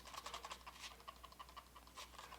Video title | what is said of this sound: HyperX Pulsefire Raid Gaming Mouse Review | there is a little bit of a rattle, and that's mainly the scroll wheel because it has left tilt and right tilt features